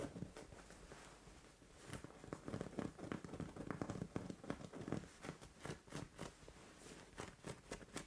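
Long orange nails scratch a soft white fabric bed cover, then hands grab and bunch the fabric. The sound is quiet, soft, crackly scratching and rustling in short bursts, with a low, muffled body and bright scratchy edges.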